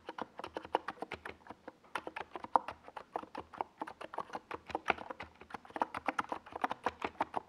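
Fingertips type continuously on a NiZ Plum Atom 68, a small 68-key mechanical keyboard with a white plastic case and purple and yellow Domikey Gas Attack SA plastic keycaps, resting on a desk pad. Dozens of quick, dry clacks follow each other at an uneven typing rhythm, with a mid-pitched hollow plastic tone and almost no ring after each keystroke.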